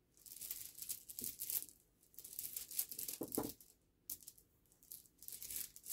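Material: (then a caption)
Stone. Both hands rub, rake and shuffle a pile of small, smooth, solid river pebbles against each other on a black cloth. The result is quiet, bright rattling clicks and crunchy grinding that come in three long bursts with short silent pauses between them.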